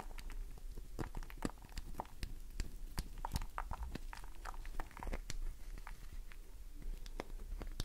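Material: Glycerin soap.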